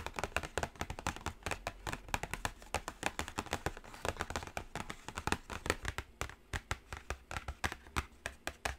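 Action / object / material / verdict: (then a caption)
tap / cardboard palette box / cardboard / none. Long acrylic nails tap rapidly on the lid of a flat, closed black cardboard Carnival eyeshadow palette. Dense, quick, short clicks run continuously with an uneven rhythm, each one dry with almost no ring and carrying a low thump beneath a bright edge.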